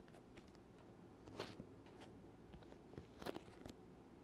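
Fingertips tap a black, rectangular, leather-covered hard oboe case, hollow and closed and held upright close up, pressing onto and peeling off its surface with sticky hands. Quiet, soft taps and tacky crackling peels sound irregularly over a low, steady background, with a few brighter, sharper clicks standing out.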